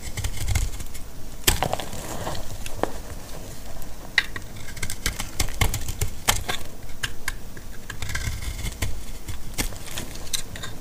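A utility blade chips and slices pieces off a solid, dry orange laundry soap bar. The result is a steady run of sharp, dry crackling snaps and bright clicks over a low, muffled rumble, with each cut dying away almost at once.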